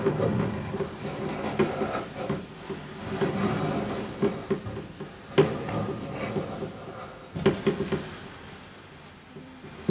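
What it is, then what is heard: Wooden double bass body. A white-gloved hand strokes, rubs and lightly taps the hollow wooden body of a large double bass near the bridge and the top, while bare fingertips with painted nails rub its lower body by the f-holes and strings. A soft, continuous low-mid rubbing hum is broken by about six short, hollow knocks that fade quickly, with a faint resonant tone near 414 Hz as the strings vibrate slightly.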